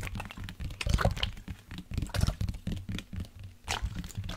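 A large, hollow black plastic sports water bottle with a blue cap, holding liquid, is tapped with fingertips and nails while being tilted or shaken. Quick, dry taps with a deep, hollow thump mix with the soft slosh of the liquid inside. Brighter clicks from the nails cut through in places.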